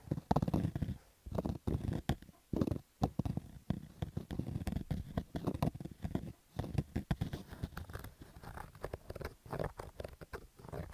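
A black stitched fabric baseball cap with a hollow crown and stitched brim, lying on orange carpet, is scratched with fingertips and nails. The result is a dense, rapid run of dull, muffled scratching and rubbing bursts, heavy in the low range with almost no high content, pausing briefly between strokes.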